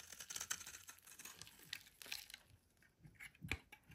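A solid white oval bar of soap held in the hand is scraped and shaved with a metal utility knife blade, crumbly flakes falling away. Quiet, bright, dry scraping and crackly crumbling ticks come in a dense patter of short strokes, thinning out in the second half with a few sharper cuts near the end.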